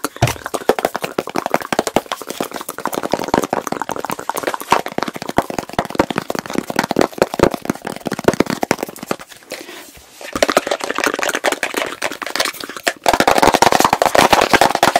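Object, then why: Plastic jar with plastic lid. Fingertips and nails rapidly tap and scratch the blue plastic lid of a medium plastic petroleum jelly jar full of pale jelly. They make a dense stream of short, dry clicks and scrapes centered in the mids with little low end. The sound briefly softens near the ten-second mark, then returns and grows loudest in the final two seconds.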